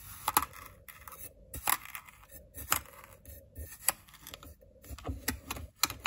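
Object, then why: Kinetic sand in a small glass bowl, scraped with a ceramic knife. A white ceramic knife digs and scrapes through blue kinetic sand in a small clear glass bowl held in one hand, crumbling the sand. Soft, gritty scraping runs throughout, broken by sharp, bright crunches and clicks with very short ring. The sound is quiet overall, with most energy in the high, crisp range.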